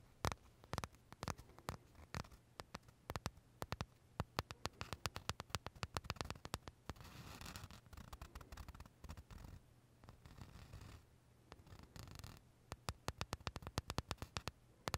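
Short fingernails tap and scratch the crisp shell of a large pale vanilla macaron held edge-on between the fingers. Quick dry clicks come in dense runs, with a stretch of softer continuous scratching in the middle before the tapping picks back up.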